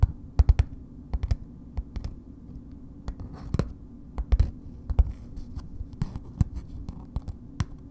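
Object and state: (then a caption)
Paper-wrapped bar soap. Long nails slowly tap on a solid bar of soap in a red paper wrapper. Short, dry, irregular taps come in small clusters, each with a dull low thump and a faint papery tick that dies away at once.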